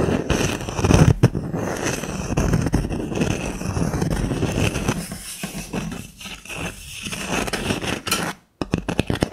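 Long lilac nails scratch and tap the surface of a small, flat, solid disc of natural wood with a bark rim and a burned snowflake design, held in one hand. A dense, crackly scratching dominated by low tones runs throughout, thins into softer, scattered strokes partway through, then briefly goes silent before a few sharp taps close the clip.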